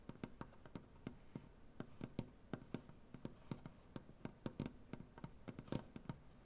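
Long dark-painted nails tap a solid light wood butcher block tabletop in a quick, uneven rhythm of about 27 short taps. Each tap is a dry, soft knock with a low, woody body, a faint bright click, and almost no ring, over a quiet background.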